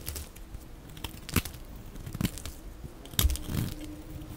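A utility blade carves at an angle into the same dry cream solid soap bar, scraping and cutting off crumbly shavings. Soft, dry crunching and crinkling scrapes are punctuated by brief, sharp, bright cuts that die away almost instantly. A quiet low rumble sits underneath throughout.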